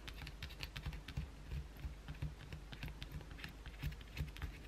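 Long blue acrylic nails scratch the edge and side of a solid white bar of soap held in the hand. The result is a quick, quiet, irregular run of dry scratches and crisp clicks with soft low thumps beneath, like rapid typing.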